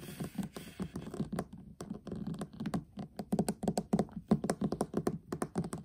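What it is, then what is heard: Metal tin eyeshadow palette, tapped and scratched. Fingertips and short nails of both hands tap and scratch fast on the pink lid of a flat, hollow metal tin eyeshadow palette lying on a table. A quick run of dry, hollow taps with a low resonant tone around 200 Hz mixes with scratchy rasping, heaviest at the start. Each tap dies away almost instantly.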